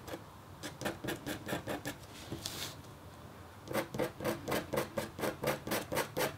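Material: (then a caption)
Copper foil. A metal-tipped stylus scratches a flat, thin, solid black-coated copper foil scratch art board, making a series of short, dry, raspy strokes at a steady rhythm. A softer, brighter hiss passes between the two runs of strokes, and then the scratching returns louder and more evenly spaced.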